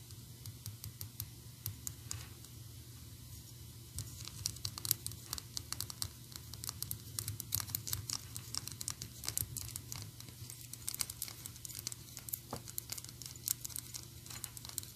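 Long acrylic nails tap and scratch on the tie and head of a small, solid, painted PVC Anger figurine. Rapid, dry, bright clicks and scratchy crinkling run throughout, with no ring after each tap, over a steady low hum.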